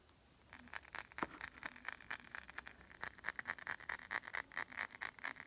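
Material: Glass.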